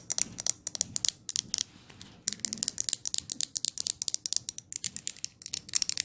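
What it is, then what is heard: Glass jar candle. Long nails tap and scratch the lid of a glass jar candle, making a rapid run of sharp, bright clicks with scratchy texture between them. Each tap is very short with almost no ring, and there is a brief quieter pause of soft scratching just before the middle before the tapping resumes.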